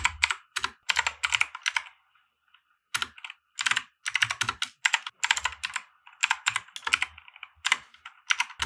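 A compact 60% mechanical keyboard with white plastic keycaps and RGB lighting, resting on a felt desk mat, is typed on with the fingertips of both hands. The result is bursts of bright, sharp plastic clacks with almost no ring, broken by a short pause about two seconds in before the steady typing resumes.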